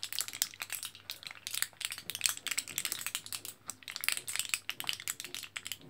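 A fingertip with a short nail taps and scratches across the orange printed foil back of a foil-backed plastic L-carnitine blister pack of capsules, held in one hand, over the capsule pockets. Dense, quick, bright crinkling clicks and scratches run throughout, each dying away almost instantly, with almost nothing in the low end.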